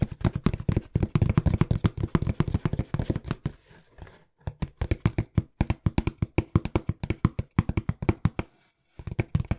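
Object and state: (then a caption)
Cardboard box. A small, hollow, brown corrugated cardboard box is held in both hands and tapped quickly with the fingertips. The result is rapid bursts of dull, low, hollow thuds that stop almost instantly, broken by brief pauses.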